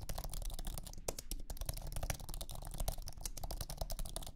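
Fingertips type on a thin, low-profile iMac keyboard with an aluminum base and white plastic scissor keys. The result is a steady stream of short, soft clicks with a low, muffled thump under each keypress.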